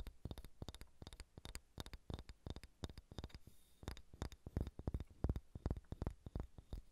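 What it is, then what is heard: Wooden ball tapped with fingernails. Long red-painted nails tap and scratch a large solid unfinished wooden sphere held in both hands. The result is a rapid, uneven run of short, dull, low thuds with faint clicky tops, roughly three taps a second, each dying away almost instantly. A brief soft scratchy rustle sits midway through.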